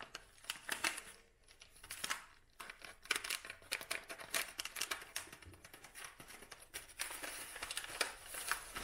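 A dried lavender bunch wrapped in brown kraft paper and tied with twine has its paper crinkled and rubbed with fingertips and nails. The result is a steady run of dry, bright crackles and scratchy rustles with almost no low end. Each crackle snaps off quickly, with brief quieter pauses between bursts.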